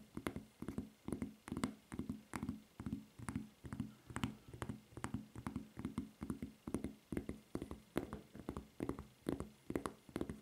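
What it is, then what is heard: Rubber flip-flop footbed. Long nails tap and scratch the footbed of a white rubber flip-flop with a red logo and strap. The result is a quick, uneven run of soft, dull taps with a low, thumpy body and very short ring, mixed with faint, bright scratching between them.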